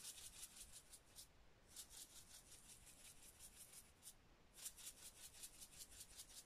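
A small clear plastic spice shaker with a red cap, filled with dried green herbs, is held in one hand and shaken while fingers rub its surface. It makes bursts of bright, crisp rattling and rustling, pausing briefly twice before starting again.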